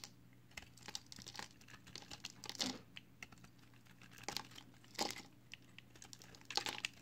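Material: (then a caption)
Soap. A utility knife blade shaves curls off the edge of a solid pale green recycled soap bar held in the hand. The clip is a quiet, bright series of short scraping and crinkling strokes over a steady low hum, with louder cuts near the middle and end.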